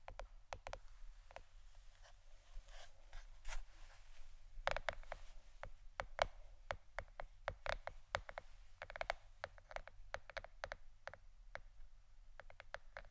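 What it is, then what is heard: Plastic board, tapped with fingernails. Fingernails tap a plastic board shaped like a shirt in a steady run of many quick, separate clicks. Each tap is sharp and dry with almost no ring, carrying a light, hollow tone around 640 Hz over a faint low hum.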